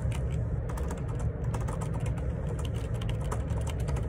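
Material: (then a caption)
Plastic. Fingertips type continuously on a black Perixx Periboard 612 wireless Bluetooth dual ergonomic split keyboard, with plastic keycaps and a hollow plastic housing, resting on a grey desk. The result is a steady, dense clatter of soft key taps, with a strong low thump under brief bright clicks.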